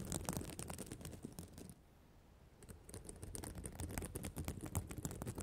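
Long nails and fingertips scratch and flip the flat plastic sequins on the reversible sequin cover of a spiral notebook. A quick, uneven patter of dry clicks and scratches runs throughout, with low, soft thumps underneath and bright ticks on top. Partway through, it pauses in a short near-silence before resuming.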